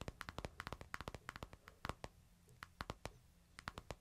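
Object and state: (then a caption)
Smartphone in plastic case, tapped. A hand-sized smartphone in a plastic case, held low in the palm, is tapped on its glass screen with fingertips and nails. The result is 22 quick, dry, quiet clicks with a tick around 1.4 kHz and soft low thumps, each dying away almost instantly in uneven bursts.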